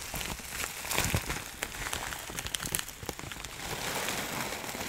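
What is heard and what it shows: A clear plastic bag of dry herbs is tilted, shaken and crinkled by hand, giving a continuous bright crinkling and rustling texture. Sharp, short crackles and snaps stand out over the soft shifting of the herbs inside, and the sound stays dense and noisy throughout.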